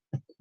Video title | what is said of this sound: Project Baker: English Muffins | whenever you're baking bread you're looking for kind of a hollow sound